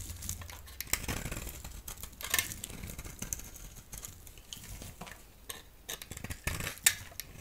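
A solid yellow oval bar of soap, held in the hand, is shaved into long strips with a utility blade. The result is a steady run of dry, crisp scraping and peeling with a bright, papery texture, broken by several sharper cuts that stand out above the soft rasp.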